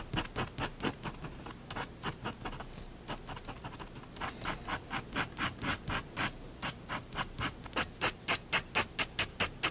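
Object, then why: Fineliner pen on a paper sheet over a wooden desk. A fineliner pen scratches hatching lines on a drawing of a cat and a plate on a white paper sheet resting on a wooden desk. About 42 short, bright, dry strokes come in a quick, uneven rhythm, growing louder and sharper toward the end.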